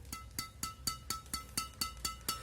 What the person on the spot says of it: suaranya nyaring hanya kayaknya ya apa ya jadi e suaranya itu e enggak panjang gitu